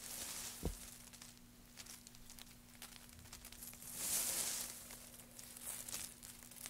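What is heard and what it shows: Gloved hands stir a heap of thin wood shavings and pile them up, making a soft, dry, bright crinkling rustle throughout. A dull low bump comes early, and the rustling swells louder around the four-second mark before settling back, over a faint steady low hum.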